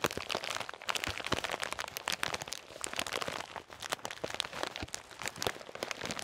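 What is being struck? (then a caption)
Thin plastic bag of salted peanuts. A full bag of salted peanuts made of thin, crinkly plastic is squeezed, crinkled and lightly shaken with the fingertips. It makes a steady, dense stream of bright crinkling and crackling, dotted with sharp little snaps and almost no low end.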